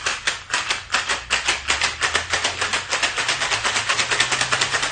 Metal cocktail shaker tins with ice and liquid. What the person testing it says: I can hear the air trying to escape. I know it's ready.